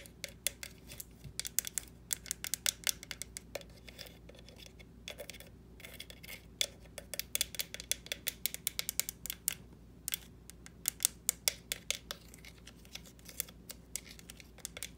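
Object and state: Plastic pumpkin tapped with nails.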